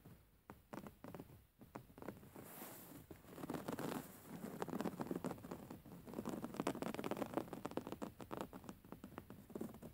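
Long manicured fingernails scratch and tap across the coarse woven textile cover of a soft, filled grey pillow. The result is a quiet, rapid, irregular patter of dry scratches and soft taps, each short and muffled, with a slightly fuller rubbing texture in the middle and later stretches.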